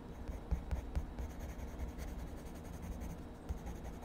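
A purple wood-cased colored pencil is rubbed and scratched across a page of a spiral-bound paper sketchbook lying flat on a desk, shading a mushroom drawing while the other hand steadies the pad. The result is a quiet, steady, low-heavy scratching and rubbing with little bright content, broken by a few soft thumps.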